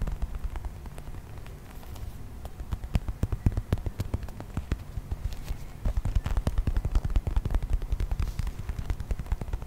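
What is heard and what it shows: A hand-sized, brown, textured plastic toy mammoth is held in the hand and tapped rapidly on its body with fingertips and nails. The result is a fast, dense stream of short, dry, low-heavy clicks and knocks that stop almost instantly. The tapping grows louder and busier in the second half.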